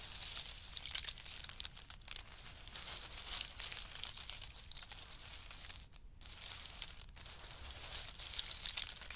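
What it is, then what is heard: Pile of in-shell pistachio nuts. Fingertips of both hands dig into a heap of dry roasted, hard-shelled pistachios resting on a fur mat, stirring, rummaging and letting the nuts fall. The result is a dense, bright stream of clicking, rattling shell-on-shell crackle, with brief dips near the six and seven second marks.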